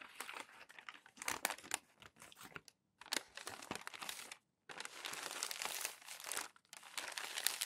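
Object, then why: Glossy magazine paper pages. Palms press and rub the crinkles out of thin glossy magazine sheets lying on a stack, and fingers fold the pages over. The result is a quiet, bright, dense crinkling and rustling with no low end, broken by two short silent gaps before it resumes more continuously.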